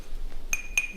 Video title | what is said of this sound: 풍란 배양분 완전 정리｜토분, 낙소분, 플라스틱분 무엇이 좋을까? | From my perspective, that is still a dull sound.